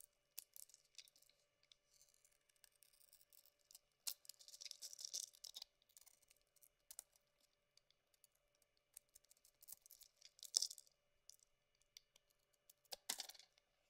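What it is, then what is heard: Bar of soap being shaved with a knife. A solid, carved white bar of soap held in the hand is shaved with a metal knife blade. Quiet, bright, crisp scraping and clicking come in short bursts, with a longer run of shaving around four to five and a half seconds and louder strokes near ten and a half and thirteen seconds.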